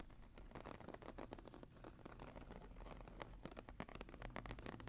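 Long nails scratch across the textured cover of a closed brown embossed leather journal lying flat. The result is a quiet, dense run of short, dry scrapes and ticks over a low, steady rumble.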